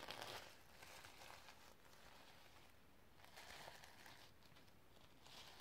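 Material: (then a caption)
Sequins. Long red nails scratch and brush across the sequin fabric cover of a notebook. The result is a quiet, continuous, bright crinkly rustle that swells and fades in soft bursts, with a faint low rumble underneath.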